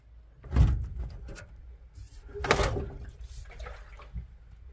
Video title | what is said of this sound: 1959 Chevy El Camino Rustoration! Let's Drop The Old Rusty Gas Tank and See What's Inside...OMG! 🔥 | I can hear it sloshing in there.